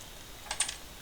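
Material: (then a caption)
Plastic. A 1983 Atari 800XL home computer case is moved and shaken, and something terribly loose inside gives three quick, bright clicks of rattling. The part may be metallic and could cause a short.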